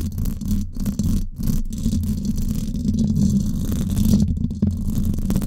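Long acrylic nails scratch the hollow, silver woven-wire dome grille of a Blue Yeti microphone. The result is a dense, continuous low rumbling scrape with a steady hum near 200 Hz, broken by a few brief dips.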